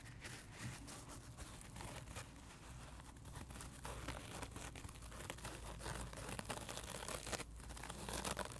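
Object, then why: Scrub side of a dry kitchen sponge. Fingertips and nails scratch and tap the white textured scrub side of a dry heart-shaped sponge lying flat on carpet. A quiet, continuous rough scratching with crinkly crackles and soft taps runs throughout, growing slightly louder in the second half.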